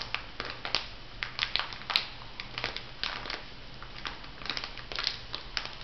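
A small clear plastic bag full of white bath salt granules lies flat while fingertips and long nails press and rub it. Bright, gritty crunches and crinkles come in quick, uneven bursts, with a faint low hum underneath.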